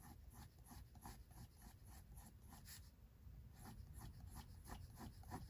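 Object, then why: Pencil on a paper sketchbook page. A pink mechanical pencil tip sketches short strokes near the top of a face drawing on white drawing paper in a spiral-bound sketchbook. Quiet, dry scratching bursts repeat about three times per second in an uneven rhythm over a soft low rumble.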